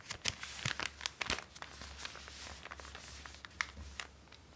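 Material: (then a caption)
Paper. A small, flat, empty pink-and-white striped paper treat bag is held in both hands while fingertips and long painted nails open, flex and crinkle the thin paper. Bright, crisp crinkles and sharp papery snaps come in quick bursts over a steady low hum.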